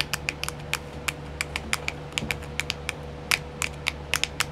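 Long nails tap quickly on a small, round, clear, hollow plastic nail art wheel whose compartments are filled with nail decals. About twenty sharp, dry, bright clicks with no ring, centred around 2.3 kHz, sound over a faint steady low hum.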